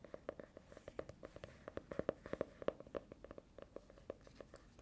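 Long nails tap and scratch the smooth faux-leather or plastic-coated cover of a small orange hardcover notebook held close to the mic. About thirty quick, dry, mid-pitched clicks come in an uneven run, with soft scratching between them. Each tap stops at once, without ringing.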